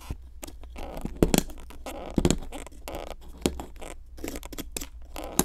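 A metal pick with a wooden handle scrapes and crumbles a solid pink plaster excavation block. Dry, gritty scratching and crunching run throughout, broken by a few sharper scrapes and clicks that stand out above the steady low hum.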